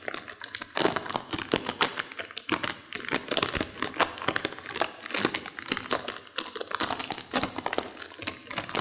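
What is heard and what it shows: A small, full, sealed foil-plastic M&M's milk chocolate bag is held in both hands over a carpet while long acrylic nails and fingertips crinkle and rub the wrapper. Continuous bright, crackly crinkling fills the clip with many sharp snaps and little low end.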